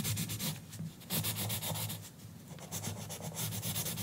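A green colored pencil rubs and scratches across the page of an open paper coloring book lying flat on a counter, while the other hand holds a bundle of pencils still on the book. Quick back-and-forth strokes make a steady, bright, papery scratching with a faint low hum underneath, easing briefly between bursts of shading.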